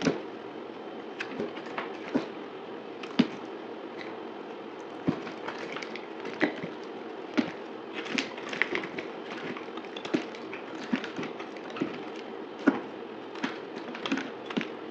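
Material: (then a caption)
Soap. A solid green bar of dried soap with a gold-painted surface is held in the hand and cut and scraped into chunks with a utility knife blade. Short, dry crackling snaps and scrapes repeat throughout, with brief crisp clicks as pieces break away over a steady rasping hiss.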